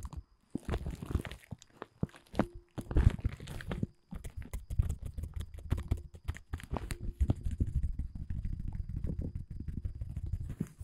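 Fingertips scratch and crumple the surface of a thin, large dark blue woven polyethylene tent groundsheet. Dense, rapid crinkling and scratching crackles run throughout, with a heavy low-end thump to the rustle and a brief pause just before the fourth second.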